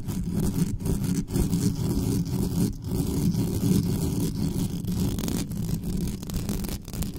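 Long natural nails on both hands scratch fast over the hollow metal mesh grille of a black condenser microphone. The result is a dense, continuous, muffled scratching rumble, heavy in the low end with little brightness. The level stays fairly steady throughout.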